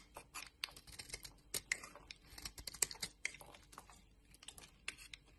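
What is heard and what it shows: A utility knife blade scrapes and carves curls off a solid orange bar of soap held in the palm of a hand with long dark nails. About twenty quiet, crisp scraping clicks and shaving sounds come through, mostly bright and high with almost no low end, each one very short and dry.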